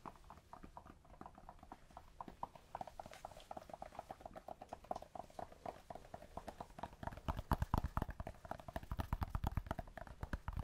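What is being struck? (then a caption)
Small cork block. A small solid cork block is held in the hands and tapped rapidly with fingertips and nails, moving near the microphone and then further away. The taps are short, dull and low-pitched with almost no ring. They quicken and grow louder and heavier toward the end.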